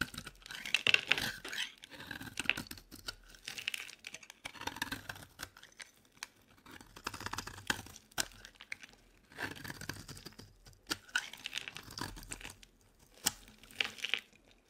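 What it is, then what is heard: Dry bar soap scraped into shavings. A solid rectangular green olive dry bar soap is held in hand and scraped with a metal utility knife blade into crumbly shavings. Bursts of dry, bright scratching and crunching come in repeated strokes, with short pauses between them.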